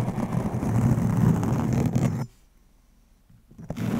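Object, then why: Foam microphone windscreen. Razor blades glued to fingernails and a hand-held metal razor blade scrape and scratch across a soft, round, fist-sized black foam windscreen covering a microphone. The result is a dense, muffled, low rumbling scratch that cuts off abruptly after about two seconds, leaving near silence before the scraping returns at the end.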